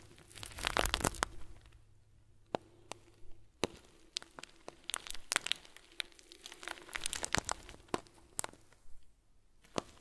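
A hand-sized, round, clear plastic bag packed full of tiny white foam beads, soft and squishy, is squeezed and kneaded by fingers and a thumb wrapped in blue tape. It gives steady soft crinkling, broken by many sharp, bright crackles and clicks, with a denser burst of crinkles near the start.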